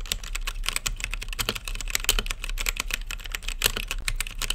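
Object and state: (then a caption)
Plastic mechanical keyboard. Fingertips type steadily on an RGB-lit mechanical keyboard with plastic keycaps and a clear acrylic case. A rapid, uneven run of sharp, bright clicky taps with a clacky tone around 3 kHz dies away almost instantly, over a faint steady low hum.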